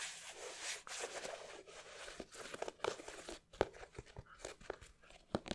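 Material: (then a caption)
Leather. Fingertips and nails tap and scratch the leather upper of an empty, hollow white leather Nike sneaker with a red swoosh, held in both hands. Soft, crinkly scratching and rustling runs throughout, broken by sharp, dry taps that stop instantly with no ring.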